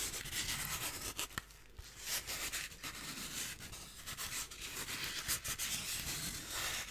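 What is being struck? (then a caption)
Expanded polystyrene block. A hand-sized, solid, lightweight piece of white expanded polystyrene (styrofoam) is held in one hand and rubbed and scratched with fingertips and nails. It gives a steady, dry, bright scratching and squeaky rubbing with short uneven bursts and very little low end.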